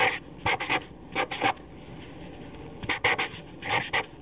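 A black felt-tip permanent marker held in the hand writes continuously on a single paper sheet resting on a table, its tip rubbing and scratching across the paper. Short, bright, hissy squeaks come in quick clusters of strokes, separated by quiet pauses with faint background hiss.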